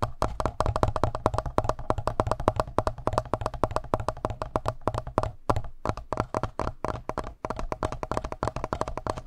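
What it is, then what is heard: Plastic handheld audio recorder, hollow. Fingertips rapidly tap and rub the front panel, just below the logo, of a hollow black plastic Tascam handheld audio recorder. About sixty short, dry, hollow knocks run in a steady, fast pattern, with a low thump and a woody midrange tone near 630 Hz that dies away almost at once. The rhythm breaks briefly around 5.5 and 7.4 seconds.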